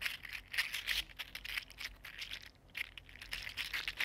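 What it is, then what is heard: 3D printed plastic articulated fidget slug. A small, hollow, articulated purple-green 3D-printed PLA plastic mini mermaid fidget slug is flexed and rolled between fingertips. Its segments click and rattle against each other in a dense, continuous stream of bright, crisp ticks with almost no low end. A brief lull comes partway through before the clicking resumes.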